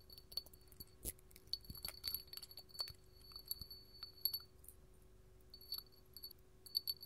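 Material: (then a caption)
Glass. A small, hollow, empty clear hobnail glass candle holder is held in the hand and tapped with long gold metal filigree finger claws. Quiet, bright glassy clinks and ticks come in irregular clusters, each with a high, short ring that dies away almost at once, over a faint steady hum.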